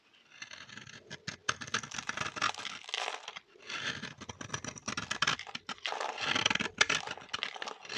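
A solid pinkish-orange bar of dry soap held in the hand is shaved with a metal blade, each scraping stroke peeling off curls and powder. The sound is a dry, bright rasping and crackly scraping in bursts of quick strokes with brief pauses between, and almost no low end.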